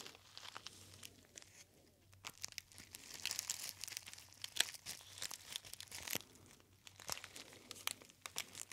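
A gold metallized foil tea bag pouch with a label is crinkled by fingertips close to the ear. Bright, crisp crinkles and sharp snaps come in uneven bursts over a faint low hum, growing denser and louder in the middle before easing off.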